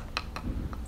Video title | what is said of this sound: Fixing Pool Cracks On A Fiberglass Coated Swimming Pool With Torque Lock Staples | we have some loose material behind these tiles as they sounded Hollow